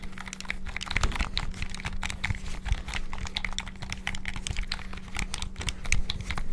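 A hollow, white PS5-style plastic gamepad is held in both hands while fingertips rapidly press and click its buttons and sticks. The result is a fast, dense stream of sharp, bright plastic clicks and taps with short dull thumps, over a steady low hum.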